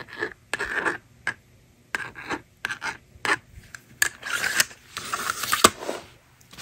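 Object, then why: Plastic magnetic drawing board and stylus. A plastic stylus scratches across the screen of a hand-held plastic magnetic drawing board in short, dry, broadband strokes with sharp onsets. After the strokes, the slider is pushed across to erase the board, giving a longer, brighter scraping sweep.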